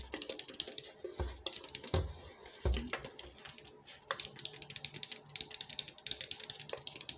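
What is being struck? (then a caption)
Plastic soda bottle. Fingernails scratch and tap the plastic and label near the shoulder of a hollow 2-litre PET Coca-Cola bottle full of dark soda, held close. Rapid, crisp clicks and scratchy ticks run throughout, with a few louder, duller thumps around the first few seconds.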